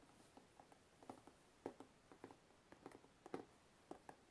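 Fingertips tap the lid edge of a hollow, closed white cardboard box, then the box is tilted and the fingers tap and scratch along the lid seam. About eleven quiet, dry, hollow taps land at an irregular pace, each with a midrange knock that dies almost instantly. Faint brushing scratches fill some of the gaps.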